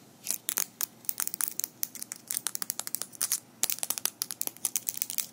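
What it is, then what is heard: Metal fingerpicks clicking together. Small metal fingerpicks worn on the fingers of both hands are interlocked so the picks click and tap against each other close in front of the mic. A quick, irregular run of dozens of sharp, bright metallic ticks comes in clusters, with almost no low end and virtually no ring after each hit. There is a brief pause just past the middle before the tapping picks up again more densely.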